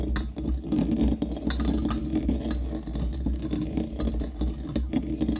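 A pestle knocks and grinds against the metal interior of a small hollow brass mortar, gripped by hand and holding coffee beans. Rapid, continuous bright metallic clinks and rattling beans ride over a steady low hum, with short ringing tones between the strokes.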